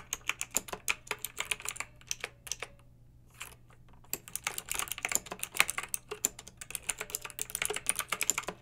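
Long red-nailed fingertips type on a pink mechanical keyboard with round retro plastic keycaps and blue backlight. Quick, bright, clicky keystrokes patter in bursts, with a near-silent pause of about two seconds in the middle. A faint steady low hum runs underneath.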